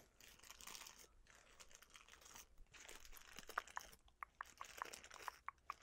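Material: Cellophane.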